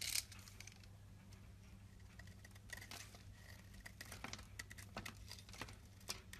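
A rectangular solid white soap bar held in the palm is scraped and scratched with a box-cutter blade, raising fluffy shavings. Quick, bright scratching strokes and soft crinkly rasps come one after another over a low steady hum, with a sharper burst at the very start.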